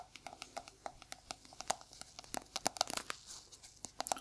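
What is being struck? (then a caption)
Small plastic jar with lid. Gloved fingertips in red-and-black sticky gloves tap the lid of a small, round, hollow white plastic jar held in the hand. A quiet, irregular run of sharp, dry clicks and taps follows, each with a hollow knock around 730 Hz and a bright, slightly crinkly top. Every tap stops instantly with no ring.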